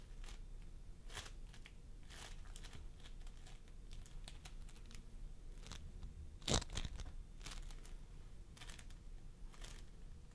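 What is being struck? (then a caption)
Floam sculpting foam with polystyrene beads. Fingertips of both hands press and squish a pastel mound of floam sculpting foam made of polystyrene beads on a wooden table. The result is a series of short, bright crackling and crunching bursts over a steady low rumble, with the loudest squish about two-thirds of the way through.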